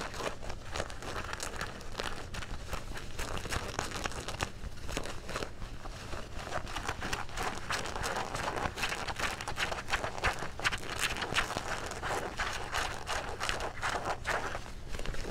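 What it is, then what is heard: Denim jeans being scratched and crumpled. Dark blue denim jeans are crumpled in the hands while fingernails scratch across the pocket and folds. The result is a steady, dense stream of crinkly, rasping fabric scratches with bright texture, over a constant low hum throughout.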